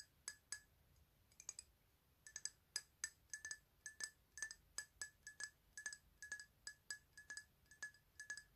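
A rectangular glass perfume bottle with a white label, filled with liquid and held in both hands, is tapped with long nails. It gives a quiet, irregular series of sharp, bright clinks, each with a short high ring that dies away almost at once, with brief pauses between clusters of taps.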